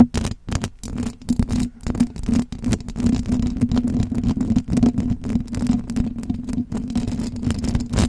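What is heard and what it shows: Fingertips and long blue acrylic nails rub and scratch the hollow metal mesh grille of a silver condenser microphone. The result is a dense run of close, rough scratching bursts over a steady low hum that rings around 240 Hz. There is little bright content.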